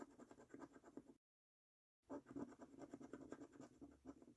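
A coin scratches the latex-coated number panels on a paper Prize Portal scratch card resting on a table, making quick, rough scraping strokes with a low rasp around 250 Hz and bright high hiss. The scraping stops for under a second of complete silence, then resumes in brisk, uneven bursts.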